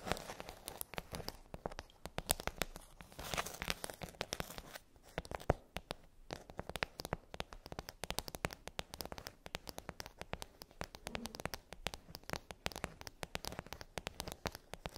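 A pink glossy plastic tray with rows of hollow dome bubbles is tapped and scratched with long acrylic nails. The result is a steady stream of quick, sharp clicks and crinkly, crackling scratches with almost no ring.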